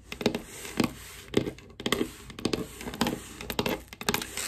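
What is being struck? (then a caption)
Wooden tabletop tapped with long acrylic nails. Long black acrylic nails with googly eyes glued on tap and scratch across a large solid wooden tabletop, with a small white item under the fingers and the eyes possibly rattling. Irregular bursts of quick, dry clicks and scurrying scratches mix with a bright, hissy texture, each tap dying away almost at once.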